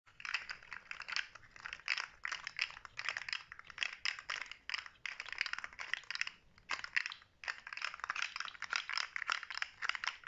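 Fingertips with short natural nails flex and rattle a handheld, rainbow-coloured fidget slug toy made of hollow plastic segments, so the segments click against each other. Dense bursts of bright, crisp clicking and rattling come in quick runs separated by brief pauses, with almost no low end.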